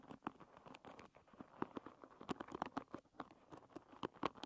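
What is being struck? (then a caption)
Wooden paddle hairbrush with wooden pins. A medium wooden paddle hairbrush with wooden pins is scratched across its pins by long red-painted nails, which then tap and scratch its smooth wooden back. The sound is a quiet, dry patter of quick clicks and scrapes, centred in the midrange around 1 kHz with brief bright edges and almost no ring.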